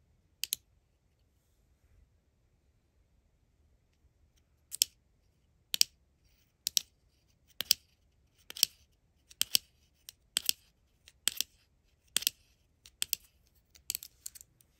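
A small, hollow, dark plastic replica of a Kikkoman soy sauce bottle is held in the hand and tapped and scratched with long acrylic nails. The result is a series of sharp, dry, bright clicks with almost no ring, starting sparse and then coming quicker and more irregular, sometimes in close pairs.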